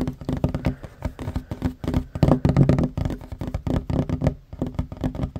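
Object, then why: Wooden tabletop. A hand with short fingernails taps fast on a flat, solid wooden tabletop, lifting off between some taps. The result is a rapid, uneven run of short, dull, low knocks that die away almost instantly.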